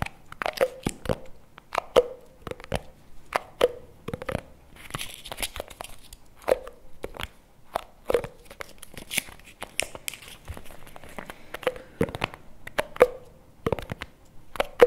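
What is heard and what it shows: Fingernails and fingertips tap and scratch the label and lid of a small round plastic chocolate spread jar, held close in both hands. Sharp, dry clicks with a hollow midrange tone come in uneven bursts, mixed with crinkly scraping and brief bright rustles. Each tap dies away almost at once.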